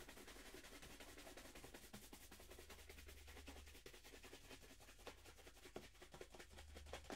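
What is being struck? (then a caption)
Leather shoe brushed with a horsehair brush. A hollow, empty black leather dress shoe is held in hand while its leather upper is buffed with fast strokes of a wooden-handled horsehair brush. The result is a quick, uneven run of short, bright brushing swishes and soft taps over a steady low hum.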